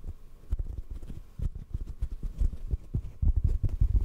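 A hollow black foam microphone windscreen is held in one hand and tapped with the fingertips of the other. The taps are soft, muffled, low thumps in an irregular rhythm, each dying away almost instantly, with no bright edge.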